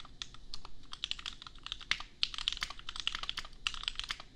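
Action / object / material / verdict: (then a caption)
tap / plastic mechanical keyboard / plastic / none. A custom 60% mechanical keyboard with Gateron Milky Yellow switches and red and white plastic keycaps sits on an anime desk mat and is typed on with the bare fingertips of both hands. A steady run of quick, bright plastic clacks with short, dry decays centers around 3 kHz over a faint low hum.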